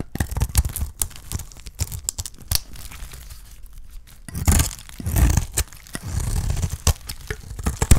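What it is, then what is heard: Dry soap bar being shaved. A small metal blade shaves strips from a solid, hand-sized, dark purple dry soap bar. Quick, dry, crunchy scrapes and crackling tearing sounds carry a heavy low thump, with a few longer, smoother shaving strokes near the end. Thin strips of soap peel away from the bar.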